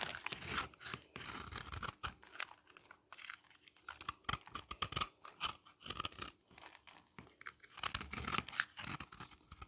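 A utility knife blade scrapes the flat face of a hand-held, solid, oval yellow bar of dry soap, leaving powdery flakes. Dry, crisp, crunchy rasps come in quick bursts of short strokes, bright and high with little low end.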